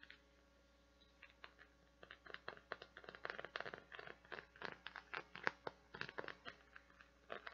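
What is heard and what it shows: Long nails scratch across the small round nubs of a hand-sized, translucent blue silicone or plastic flower-shaped bath scrubber, which is solid and flexible. After a near-silent first second, quiet, dry, bright scratching ticks and crackles come in quick, uneven bursts. Each one stops short with almost no ring.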